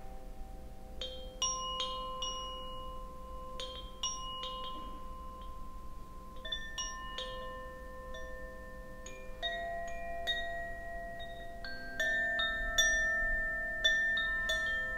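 A hand-held bamboo Koshi wind chime, a hollow bamboo tube chime with a wooden clapper, is swung and struck repeatedly at an uneven pace. Its bright, tinkling strikes blend into long, overlapping sustained tones that hum and build into a shimmering wash over a quiet low background.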